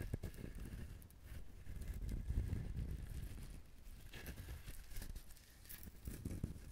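Fingernails scratch and tap the fibrous shell of a whole brown husked coconut held in the hand close to the recorder. It makes a dense, low, rumbling scrape with crinkly, brushy rustles and soft, dull taps that fade almost at once. The sound stays steady and close throughout, with brief brighter scratches now and then.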